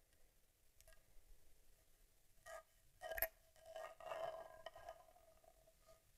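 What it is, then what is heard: Metal and leatherette camera body. A vintage Argus C3 rangefinder camera, a small boxy metal body with leatherette panels, is held in the hands with its back facing up while long nails tap across the leatherette panels and metal trim. The quiet taps are light and clicky, with brief, bright flicks over a faint, steady ringing tone around 650 Hz that dies away quickly after each tap.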